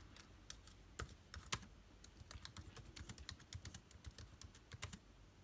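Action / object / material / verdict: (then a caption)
tap / laptop keyboard, plastic keys on aluminium body / plastic / none. Fingertips type on the plastic keycaps of an aluminium-bodied laptop keyboard. A quick, uneven run of short, dry clicks carries a low thud beneath bright ticking, each tap cutting off almost at once.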